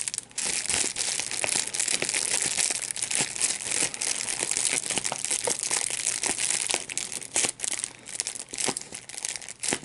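A small piece of clear plastic wrap with large, hollow, air-filled bubbles is squeezed and popped between the fingertips and thumbs of both hands. A steady, bright crinkling runs throughout, broken by many sharp, quick pops that die away almost instantly.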